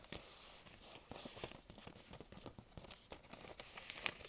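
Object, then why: Thin paper sheet. A thin, folded, postcard-sized sheet of printed paper is held in both hands while fingertips and long nails crinkle and scratch it. The result is a dense, bright crackling with sharp, dry snaps and rustles concentrated in the high frequencies, with little low end.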